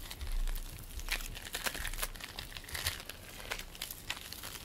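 Fingers pull apart and squish purple bead play foam made of polystyrene beads. The result is dense, irregular crackling with sticky, crinkly bursts that flash bright and high over a low, soft rumble.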